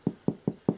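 Four light, crisp taps on the bottom of a sourdough loaf fresh out of the Dutch oven after about 45 minutes, each a short, hollow low knock with almost no ring. The full, crisp sound marks the loaf as fully baked, unlike the dense thud of an underbaked one that still holds moisture.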